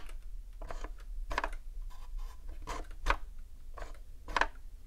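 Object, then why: Plastic game console casing. Long acrylic nails tap on a hollow, dark grey hard-plastic Nintendo 64 console, striking the memory expansion cover, the power and reset switches, and the top casing near the cartridge slot. About seven short, dry clicks land at an irregular pace, each with a bright plastic snap and almost no ring, over a low background hum.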